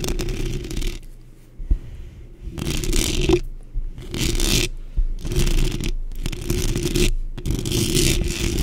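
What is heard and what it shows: Long pink acrylic nails scratch and tap the round, hollow metal mesh grille of a large black microphone from both sides. Bursts of bright, rasping scratches alternate with quieter stretches, all over a steady low, boomy rumble with an occasional sharp tap.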